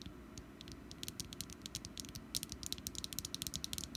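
Long nails tap and scratch the ridged surface of a small, solid orange wax pumpkin candle. A quiet, rapid series of short, bright clicks grows denser and sharper toward the end. A low, steady rumble runs underneath.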